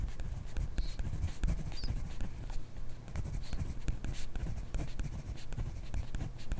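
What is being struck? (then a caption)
Ballpoint pen on grid paper notebook page. A ballpoint pen held in a hand writes on a page of a grid paper notebook, close up. The pen scratches steadily across the paper in quick, dry strokes with soft taps, the sound mostly low and dull with faint bright scratchy traces.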